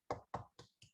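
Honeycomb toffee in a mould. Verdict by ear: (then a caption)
Not set. Four taps on honeycomb toffee in a mould give short, dull knocks with a low thump, each dying away quickly and growing fainter. The toffee has not set yet: set honeycomb should sound really hollow, and this piece would end up a crumbly mess, so it is left to cool longer.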